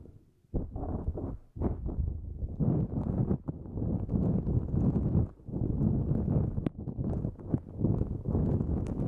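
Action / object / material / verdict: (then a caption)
scrape / nonwoven fabric drawstring bag / nonwoven fabric / none. A pink-and-white, mesh-like nonwoven fabric drawstring pouch placed over the microphone is scratched and rubbed with long nails. The result is a dense, low, muffled rustling and scraping that swells and fades, broken by brief pauses and sharp little scratch transients.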